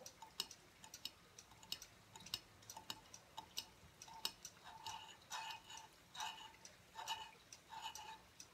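Fingertips and nails tap the thin, rounded plate of a silver aluminum tablet stand lying tilted on a wooden table. The result is a quiet, irregular series of short, bright, dry ticks with almost no ring. In the second half, longer clustered taps add a denser metallic rattle.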